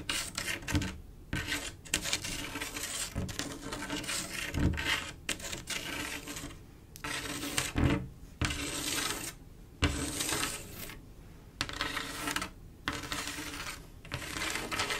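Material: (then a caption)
Glass. Long acrylic nail tips tap and scratch across a large, solid, flat glass mosaic tile picture made of silver mirror-like tiles set in grout. Bursts of bright, gritty scratching alternate with short, clicky taps that die away almost at once, separated by brief near-silent pauses.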